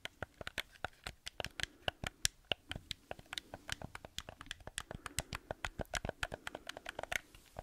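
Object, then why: Hollow plastic gamepad. Fingertips and nails tap and scratch the surface and buttons of a black hollow plastic gamepad held close to the mic. About 36 short, dry, bright clicks and taps come in a quick, irregular stream, each dying away almost at once.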